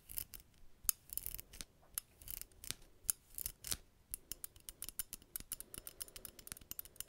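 Fingernails scratch and click on the solid metal parts of a small metal buckle on a black belt, held just below the microphone. A quiet, fast run of sharp, bright clicks and short scratches is heard. Each click stops dry with no ringing, and there is a faint rubbing texture between the hits.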